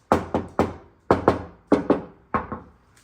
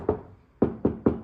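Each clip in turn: First: Quick knuckle knocks in pairs on a bare metal fender sound hollow and thin, with a slight tinny tone. Second: Four dull, low knocks die almost at once: a deadened fender panel that now sounds solid, not tinny.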